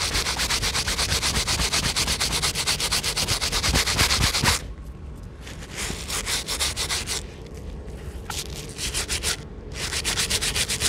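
A bristle brush scrubs the edge of a white rubber Jordan 1 sneaker sole with rapid strokes while the hollow shoe is held in one hand, coated in wet soapy foam. The first half is dense, bright, rhythmic wet scrubbing. It then turns quieter and more intermittent, with short pauses, before the stronger strokes return near the end.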